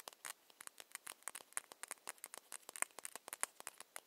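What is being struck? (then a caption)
Small ceramic cosmetic bottle. Long nails tap a small ceramic foundation bottle with a ribbed cap in a quick, uneven run of about 29 light, dry clicks. The taps are bright and thin with no low end and stop instantly, with no ring.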